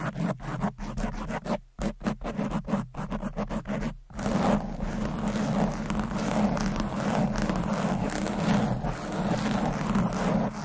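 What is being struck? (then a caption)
Foam microphone windscreen. Long nails scratch fast across the top and sides of a red foam windscreen covering a microphone. For about four seconds the strokes come in quick separate bursts with short gaps, then they merge into steady, dense, muffled scratching. The sound stays low and rumbly, with little bright content.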